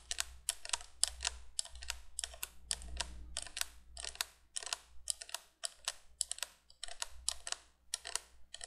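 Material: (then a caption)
Plastic. Long nails tap and scratch the sides of the hollow plastic candle tubes on a 1980s plastic window candolier. They make a rapid, uneven string of short, bright, dry clicks and scrapes that stop instantly with no ring. A faint low hum runs steadily underneath.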